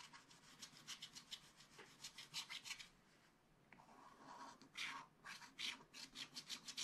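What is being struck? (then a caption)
Wax-coated scratch-art paper scraped with a wooden stylus. A wooden stylus held in the fingers scrapes the coating off a black wax-coated scratch-art paper page in a small spiral-bound book lying flat. Quick, bright, raspy strokes come in a steady rubbing rhythm, fade to a near-silent hiss around the middle, then return in sharper, louder scrapes.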